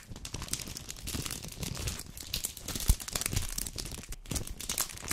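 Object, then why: Plastic-paper chocolate bar wrapper. A full red 200 g dark chocolate bar in a plastic-paper wrapper is held in the hand and crinkled and scratched with long painted nails. It makes a dense, continuous run of crisp crackles and rustling scratches with a bright top and a low rumbling handling noise underneath. A sharper, louder crunch comes near the middle.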